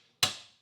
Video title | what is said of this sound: W4A33 DSM Mitsubishi Transmission Final Assembly: Insider Tips | get that solid sound when it's seated